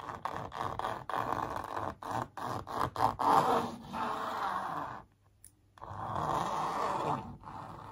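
Long purple nails trace and scratch across a sneaker print on a large, hollow-backed printed canvas stretched over a wooden frame. Quick, dry scratching strokes with a midrange, papery rasp come in short bursts, then pause in near silence before one longer, steady scrape across the surface.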